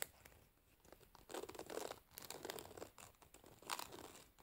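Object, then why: Wooden hairbrush with metal pins in a rubber cushion. Long nails scratch and pluck the metal pins of a wooden hairbrush, which are set in a rubber cushion. Quiet, dry crackling and scratchy bursts swell and fade, with bright, papery texture and a few sharper plucks standing out.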